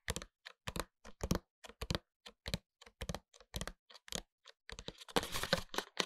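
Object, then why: Paperboard product box with window holding a glass-look hair oil bottle. Fingertips and short nails tap a small upright paperboard product box with a clear window, holding a closed, full, glass-look hair oil bottle. A quick series of short, dry clicks and knocks with a hollow low thump and bright nail ticks blurs near the end into a denser, scratchy patter before stopping.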